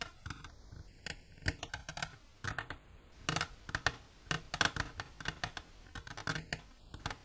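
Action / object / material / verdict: tap / hard plastic container tapped with long nails / hard plastic / none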